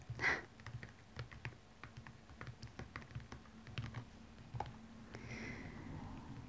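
Long fingernails on both hands scratch and tap the rhinestone-studded upper of a single blue rhinestone platform stiletto, which stands upright, hollow and empty. A bright scrape opens the clip, followed by a quick run of small, crisp clicks and ticks over a low steady hum. It ends in a softer, continuous scratchy rasp.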